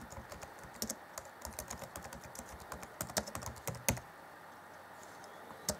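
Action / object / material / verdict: tap / plastic chiclet keys on a laptop keyboard / plastic / none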